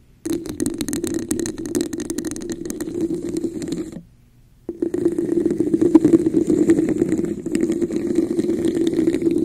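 Long nails scratch and tap the patterned sides of a hollow, translucent red textured plastic cup held over a microphone. A dense, fast, uneven rasping chatter with a hollow mid-low resonance and bright clicks runs for about four seconds, stops briefly, then resumes steadily to the end.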